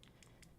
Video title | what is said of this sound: DnD Miniature Painting with DnDWife! | you can actually hear the liquid inside sloshing around. That's how you know you're actually mixing them properly.